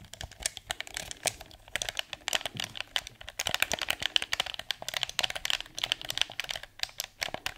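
A blue, hand-sized, hollow hard-plastic PS4 DualShock 4 controller is held in both hands while fingertips click its buttons and tap its shell. The result is a fast, uneven stream of short, dry, bright plastic clicks and taps with almost no low end and no ring after each hit.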